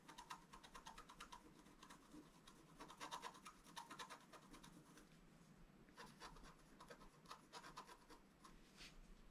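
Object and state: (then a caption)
Scratch-art paper card. A wooden stylus scratches the coating off a thin, solid, flat black-coated scratch-art paper sheet lying on a table, in short strokes. The result is a quiet run of dry, rasping scratches with a slight ring near 940 Hz and bright, crackly edges. The strokes come in uneven bursts across the clip.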